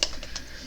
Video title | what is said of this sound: lets paint part 4 | As you can hear, got some agitators in there